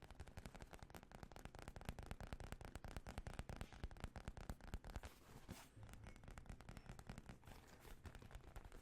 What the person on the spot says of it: Makes really good sounds. It's made out of leather.